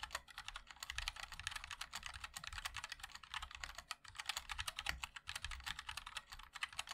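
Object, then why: Mechanical keyboard with plastic keycaps. Fingertips of both hands type continuously on a compact 60% MOD-L mechanical keyboard with a black case, white and black plastic keycaps and linear switches. A rapid, steady stream of short, bright clicky taps is heard, each dying away almost instantly, over a faint low rumble.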